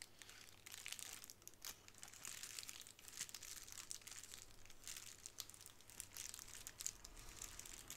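A small square of clear plastic bubble wrap is lifted off a wooden table and handled, with fingers crinkling and scratching it. The result is a steady, bright, quiet crackle of dense, quick crinkles. There are no distinct pops.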